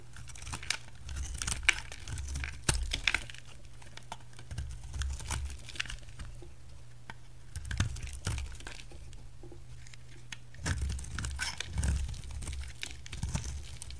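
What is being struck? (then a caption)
Bar of soap cut with a knife blade. A solid blue striped bar soap is cut and shaved with a utility knife blade, with curls of soap piling up. Soft, dry scraping and crackly shaving strokes come in bursts over a steady low hum, with brief sharp ticks from the blade.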